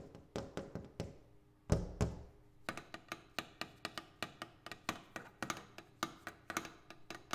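A double pane glass window is tapped in a quick, steady series of light, dull knocks. Each tap is a short thunk with low body and a faint bright click that dies away almost at once. Around the two-second mark, two stronger hits give a fuller, briefly humming thud.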